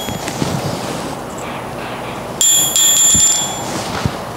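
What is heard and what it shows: A ball bearing is dropped about 20 inches onto a striking anvil made from a four-inch-thick block of carbon steel, giving two close metallic strikes with a bright, high-pitched ring that fades after about a second. The rebound is almost non-existent, showing the block is soft compared with hardened anvils.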